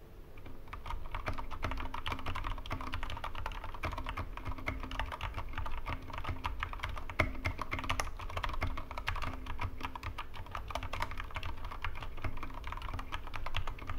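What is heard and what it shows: Fingertips of both hands type steadily on a small Corsair K65 Mini 60% mechanical keyboard with plastic keycaps and linear red switches, resting on a wooden desk. Dense, rapid key presses make short, dull clacks with a low thud under them and a faint steady hum throughout, for 14 seconds.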